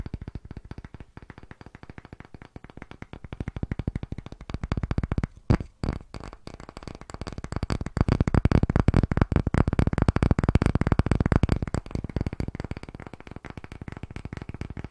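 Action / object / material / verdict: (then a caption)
tap / round wooden block / wood / none. Fingertips and nails tap and scratch quickly on a solid, round, light-wood disc block held over and beside a microphone. The result is a rapid, irregular stream of short, dry, low-heavy knocks with almost no ring. The tapping swells louder from about 8 to 11 seconds, then eases off.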